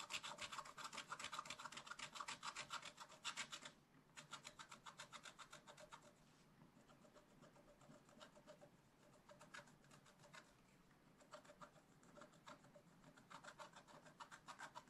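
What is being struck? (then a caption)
Black-coated scratch-art paper scraped with a wooden stylus. A wooden stylus scratches rapid, repeated strokes across a black-coated scratch-art page in a spiral-bound book, working over a giraffe and leaves. The dry, bright rasping comes in quick bursts that are strongest at the start, drop briefly near 4 seconds, stay softer through the middle and build again toward the end.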